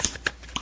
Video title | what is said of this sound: FIRST IMPRESSIONS ON TONS OF NEW MAKEUP- THERE WERE DEFINITELY MISSES | when you shake it up you can hear there's like a ball or something inside to help shake this up